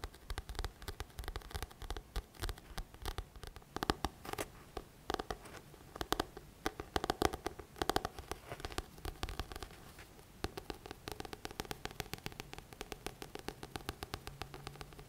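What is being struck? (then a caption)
Paperback book with card cover. Fingertips tap the glossy card front cover of a thick paperback book, *The Magic of Thinking Big*, a solid paper block held upright. The result is a long run of quick, dry, irregular taps with almost no ring, brighter and louder clusters around the middle. After about ten seconds the tapping settles into a softer, steadier patter.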